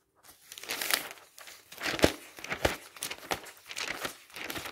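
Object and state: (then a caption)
Glossy paper catalog pages. Fingertips quickly flip the glossy pages of an open paper travel catalog resting on a stack. Dry, bright rustling and crinkling come in rapid overlapping bursts, with a few sharper page snaps partway through. Each flip stops almost at once, with no ring.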